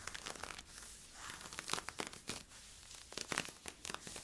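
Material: Polyester-spandex.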